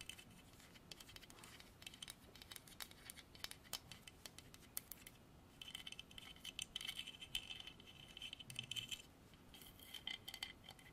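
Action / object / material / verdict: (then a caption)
tap / carved hardwood horse figure / hardwood / none. Fingertips and nails tap on a solid carved horse statue of dark striped hardwood, making a quiet, rapid stream of light, bright clicks. The taps die out almost instantly, with a faint ringing tone around 3 kHz that comes through more clearly in the second half.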